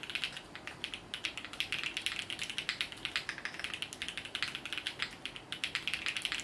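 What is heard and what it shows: Fingertips of both hands type steadily on a compact Sunset 80 mechanical keyboard with multicolored plastic keycaps resting on a felt desk mat. About fifty quick, bright, clacky keystrokes come in an uneven rhythm, each dying away almost at once, with almost no low end.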